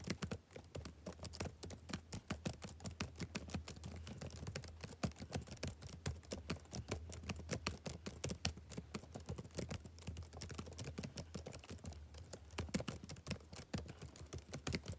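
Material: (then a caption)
Plastic. Fingertips type quickly on the plastic keys of a backlit laptop keyboard, producing a steady stream of many rapid, crisp taps with short clicky decays. A constant low hum runs underneath the typing throughout.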